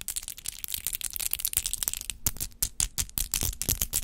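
Long acrylic nails with rhinestone clusters tap and click against one another just above a microphone. The result is a rapid, irregular stream of dry, bright clicks with almost no ring, plus occasional soft low thumps.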